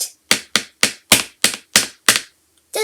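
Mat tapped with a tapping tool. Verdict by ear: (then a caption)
Solid. A hollow finder taps on a mat in a quick series of sharp, bright taps, each dying away fast. The mat sounds solid, not hollow, and less echoey than a box.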